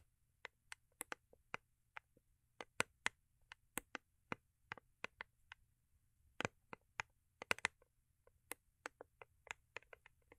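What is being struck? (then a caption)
Small cardboard gift box with foil-paper covering. Long acrylic nails tap and scratch the underside and edges of a small, hollow, rigid cardboard gift box with a holographic foil-paper covering, held in the hands. Around thirty quiet, sharp, bright clicks come in an uneven rhythm over about ten seconds, some in quick clusters. Each is dry and dies away instantly.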